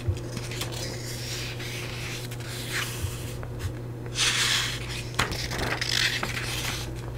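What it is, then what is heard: Paperback book pages being scratched. An open paperback book with yellowed paper pages, held in one hand close to the mic, is rubbed and scratched across its printed pages by fingertips and long nails. Soft, papery rubbing and bright scratching swells come and go. Small ticks and a steady low hum sit underneath.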